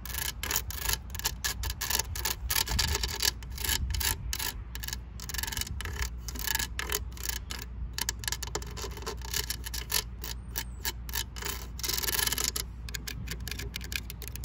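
Long nails scratch and rub along the ridged green drum of a blue and green Nerf-style plastic toy blaster lying on the grass, and tap its hollow plastic body. The result is a dense, rapid stream of bright, dry clicks and raspy scrapes with very short ring, over a steady low rumble.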